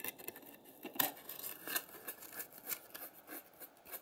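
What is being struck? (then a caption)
Polystyrene foam egg carton. Long red nails scratch and tap the hollow domes of an empty white polystyrene foam egg tray, briefly after scratching it with a stick. Quiet, dry, bright scratchy squeaks and light taps come in short bursts across the clip, with almost no low end and no ringing after each touch.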